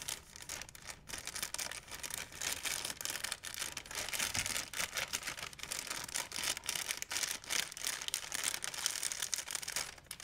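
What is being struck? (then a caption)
Thin plastic shopping bag. A large, empty white plastic shopping bag is crumpled and stretched with hands and fingernails. It makes dense, continuous crinkling and crackling that is bright and high, with almost no low end, and the rustle keeps going for the whole clip.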